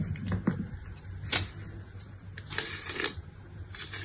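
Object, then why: Soap bar. A solid pink bar of soap with a scored grid pattern, held in the hand, is scraped and scored across its surface by a utility-knife blade. Short, dry, crisp scratches and clicks come in uneven bursts over a low, steady background hum, with the sharpest scrapes reaching up bright and high.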